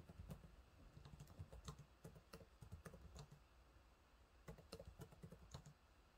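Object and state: Plastic laptop keyboard being typed on.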